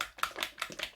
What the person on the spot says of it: you shake it up. I don't know if you can hear that's a ball in there